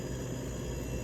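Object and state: Nothing is struck.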